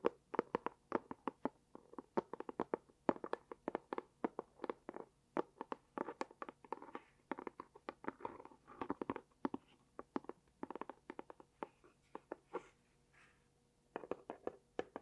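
Long dark-painted nails tap and scratch a small, hollow, closed, rectangular light pink cardboard gift box with a dot pattern while it is turned in the hands. Dozens of quick, dry, hollow taps come in rapid bursts, with soft scratching and rustling between them. The tapping briefly thins out near the end before resuming.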